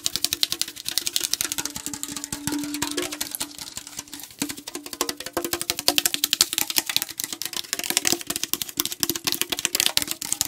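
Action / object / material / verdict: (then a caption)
tap / tall aluminum tea can / aluminum / none. A fingernail taps quickly and steadily on the back label side of a tall aluminum tea can held at an angle. The taps are short, dry and bright clicks with almost no ring, over a faint low hum.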